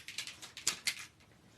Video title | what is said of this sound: Have a Fairy Merry Christmas... come join Sandy, see how we turn our fairy set into Christmas tags | you can hear the little balls in there mixing up the mica when you shake it up really good.